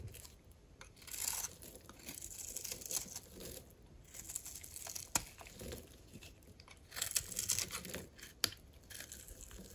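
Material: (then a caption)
Soap. A dry, solid white soap bar with pink speckles and an embossed surface is held in the hand while a metal blade cuts into it, peeling off strips and chunks. Bright, crisp scraping and crunching bursts come and go, with a few sharp snaps standing out as pieces break away.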